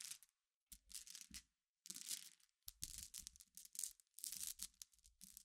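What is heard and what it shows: Long nails scratch and stir a dense pile of glass gems resting on black fabric. Bright, crisp clicking and rattling comes in bursts separated by short silences.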